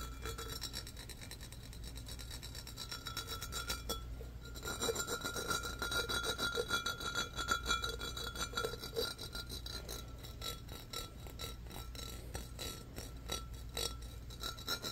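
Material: Glass.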